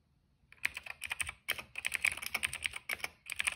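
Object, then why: Plastic mechanical keyboard. Fingertips type on a cream plastic mechanical keyboard with black and purple keycaps and a hollow case. Short, dry, bright clacks come in quick bursts with brief pauses between them, centered around 2.3 kHz with almost no low end.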